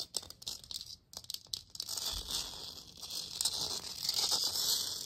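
A hollow plastic moon lamp sphere, lit purple with its base hole showing, is scratched and tapped with long nails. Sharp, bright clicks from the tapping give way to a steadier, hissy scratching that grows louder and brighter toward the end.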